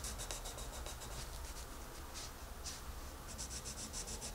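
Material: Paper.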